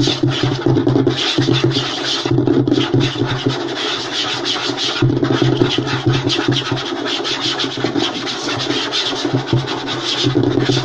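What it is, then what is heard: Wooden tabletop scratched and tapped. Fast scratching and tapping with short nails and fingertips on a flat, light wooden tabletop. A dense, continuous rasp of quick scrapes mixes with rapid taps over a steady low hum and bright hiss, with a brief dip in activity around the middle.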